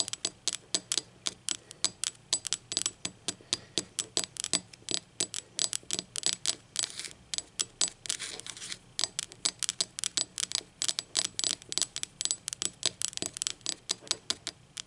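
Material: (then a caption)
Ceramic. Long acrylic nails tap and scratch the base and unglazed rim of a blue speckled ceramic mug lying on its side. About 72 quick, bright clicks come in a steady, irregular patter, each dying away almost instantly with almost no low end. A faint scratchy hiss sits between the taps.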